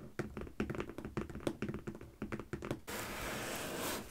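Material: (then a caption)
Cardboard. A medium closed corrugated cardboard shipping box with stickers on top, hollow and possibly holding packed products, is tapped on its top with the long painted fingernails and fingertips of both hands. Quick, dry, hollow taps and light clicks come in an uneven patter, with a low resonant thunk under them. Near the end the tapping stops and a steady bright hiss takes over.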